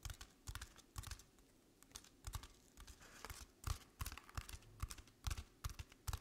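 A paper-covered artificial decorative pumpkin, tilted to show its crinkled paper underside, is scratched along its ribbed paper by long painted nails. Soft, uneven bursts of dry scratching and crinkling rise and fade with brief pauses between them. Each stroke carries a low thump and a bright papery rasp.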